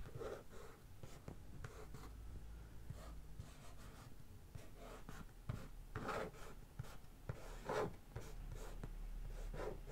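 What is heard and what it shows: Long painted fingernails and fingertips tap and scratch the printed top of a closed, medium-sized, hollow brown corrugated cardboard shipping box lying on a carpet. Soft, dull taps mix with continuous low scratching and rubbing, with a few sharper clicks standing out.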